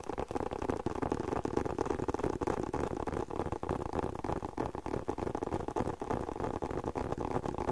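A closed, hollow, hand-sized black leather spectacle case is tapped with fingertips and short nails. It gives a fast, uneven stream of soft, dull, muffled taps that die away almost at once, with a low-mid hollow tone and almost no bright content.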